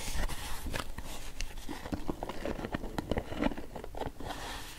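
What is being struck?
Clear plastic jar with screw lid.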